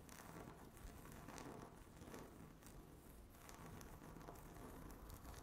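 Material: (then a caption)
Laminate. Long natural fingernails tap and scratch across a flat, solid, speckled granite-look laminate tabletop. The result is a quiet, steady scratching and crinkling texture with soft taps rising and falling throughout.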